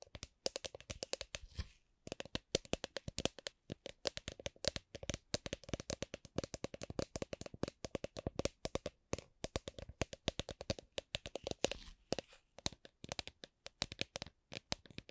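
Long glittery acrylic nails tap and scratch a hollow, apparently empty clear plastic drink shaker bottle with a red lid. The result is a dense stream of short, dry clicking taps with a hollow plastic tone around 535 Hz and bright scratchy edges, with no ring after each hit. The taps come in uneven bursts with only brief pauses.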